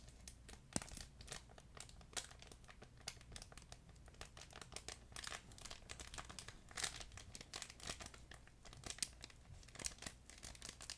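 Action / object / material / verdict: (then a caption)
scrape / plush fabric pet toy with crinkle insert / fabric, plastic film / none. A fuzzy yellow plush duck pet toy with a crinkle insert is crumpled and squeezed with both hands. It makes a dense, continuous run of bright, crackly crinkling with quick sharp pops, over a faint low background hum.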